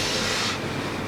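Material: Nothing is struck.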